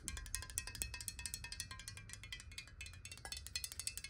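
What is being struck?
Glass bottle with water.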